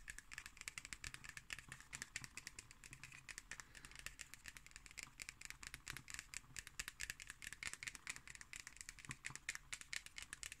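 Long green nails tap and scratch the cardboard cover of a black hardcover notebook with a red spine and a solid stack of pages, held upright. A quiet, steady stream of rapid, dry clicks and rasping scratches runs throughout, bright and crisp with almost no ring after each tap.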